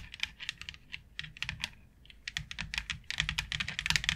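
Long nails tap and scratch across a flat white plastic plaid grid board with a fine grid pattern. The result is a rapid, irregular run of sharp, dry clicks, bright and thin with little low end, each dying away almost instantly. The clicks grow denser and louder toward the end.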